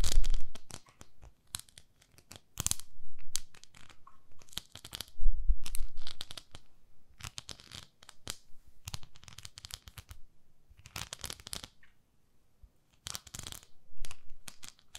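Long nails scratch across the flat surface of a pink plastic facial cleansing brush and pad, giving dry, bright scratching strokes in irregular bursts. Quiet gaps separate the bursts, and a few louder, duller thumps sit low underneath.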